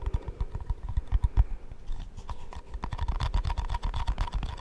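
Long fingernails tap quickly on the lid and sides of a round, cream-coloured plastic shaving cream tub with a lid, held close to the mic. The result is a fast, uneven patter of dry, short clicks and dull thumps, with a faint hollow ring to each tap.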